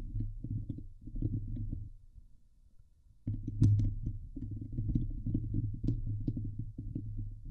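Long painted nails on both hands scratch the hollow steel mesh dome grille of a Blue Yeti microphone. The sound is a dense, low, rumbling scrape with rapid rhythmic strokes, a quieter pause in the middle, and faint bright ticks above.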